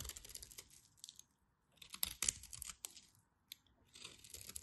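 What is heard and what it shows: A blade scrapes and carves crunchy cubes off the end of a dry, solid orange bar of soap scored with a diamond pattern. Bright, crisp crunching and scratchy scraping come in irregular bursts separated by brief quiet pauses, with a few sharper cracks as pieces break away.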